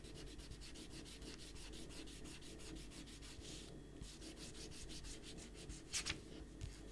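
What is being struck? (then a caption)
Rubber eraser on paper sheets. A rubber eraser is rubbed back and forth across pencil shading on a stack of white printer paper resting on a table, while the other hand holds the paper steady. Quick, rhythmic, bright, papery rubbing strokes run continuously over a steady low hum. Near the end, a couple of louder, sharper scrubbing strokes stand out before the rubbing settles back to its even pace.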